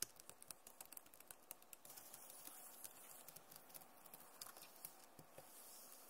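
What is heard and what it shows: Long nails tap and scratch the plastic keys of a backlit Acer laptop keyboard. Quiet, bright clicks come in quick, uneven bursts over a soft, continuous hiss of scratching. Each click dies away almost instantly.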